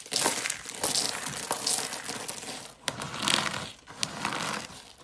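Green, hollow, rolled dry soap curls are crushed between fingertips, then the flakes are pressed and rubbed with the palms. Dense, bright crackling crunches come in bursts, with a few sharper snaps standing out, and the sound stays mostly high with little low end.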